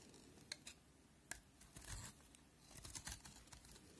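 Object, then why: Bar of soap cut with a knife blade. A steel utility knife blade cuts and shaves a solid cream-white bar of soap held in the fingers, peeling it into crunchy curls. Quiet, crisp scraping and crunching strokes are broken by a few sharp, bright snaps, each dying away almost at once.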